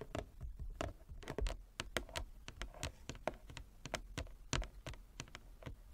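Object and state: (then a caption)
Wooden chess board. Long nails and fingertips tap across the surface of a large, flat wooden chess board with light and dark inlaid squares lying on a table. The result is a quick, uneven patter of dry, clicky taps with a hollow woody tone around 630 Hz that dies away almost instantly.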